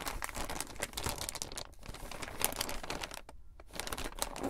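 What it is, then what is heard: Plastic poly mailer bag. A flat, thin purple plastic poly mailer bag holding something is picked up, laid on a table, and rubbed and pressed with fingertips and palms. Dense, bright plastic crinkling and rustling fill the clip, with brief quieter pauses partway through.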